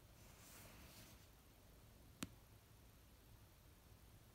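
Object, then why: Paperback book cover. Long painted nails tap and lightly scratch the paper cover of an orange paperback novel resting on a blanket. A faint, soft brushing hiss early on is followed by a single short, sharp tap near the middle, with very quiet background throughout.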